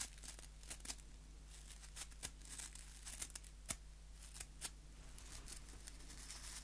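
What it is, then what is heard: Nail brush bristles scratched. Fingers scratch the white plastic bristles of a small, solid wooden nail brush held beside the mic, producing quiet, crisp, bright scratches and crackles in irregular bursts. A steady low hum runs underneath throughout.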